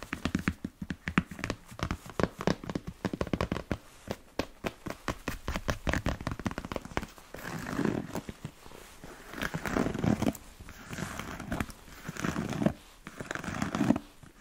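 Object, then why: Smooth leather boot. Fingertips and nails tap and scratch the leather side and elastic panel of a hollow, empty black smooth-leather Chelsea boot with yellow stitching. The first half is quick, dense, dull tapping; after about 7 seconds it shifts to longer scratching swells broken by brief pauses, and the sound stays low and dry throughout.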